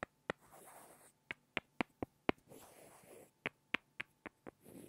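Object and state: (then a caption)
Pair of small wooden blocks. Two small, solid, light-wood blocks are tapped and rubbed together by hand. Short, dry, bright clicks with almost no ring come in small irregular bursts. Between the bursts are stretches of soft, breathy scraping where the blocks are rubbed.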